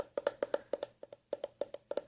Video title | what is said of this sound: ASMR Gentle Tapping sounds - Whispered | the leather of course deadens the sound somewhat but it's Hollow